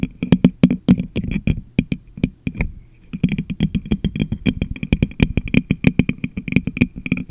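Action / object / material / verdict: tap / glass jar / glass / none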